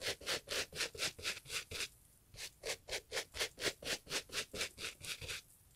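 A gloved hand scrubs a two-tone leather and fabric Italian loafer with a wooden bristle brush. The loafer is hollow, has a shoe tree inside and lies on its side. About 19 quick, bright, hissing brush strokes sound back and forth in two steady runs, with a short pause between them.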